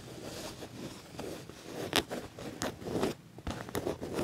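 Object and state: Quilted leather jacket being scratched.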